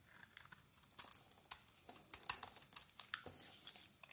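A metal blade scrapes flaky shavings off a solid translucent glycerin soap bar with a yellow and black coating, held in the palm. The result is a quiet run of dry, crisp crackling and crinkling scrapes, bright and thin with almost no low end, each stroke short and sharp.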